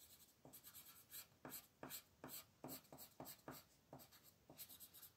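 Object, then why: Wooden colored pencil on a paper sheet. A blue wooden colored pencil rubs in coloring strokes across a thin white paper mandala sheet lying flat on a table. About ten soft, scratchy strokes come at an uneven pace, each a short bright hiss with a faint lower scrape, over quiet background noise.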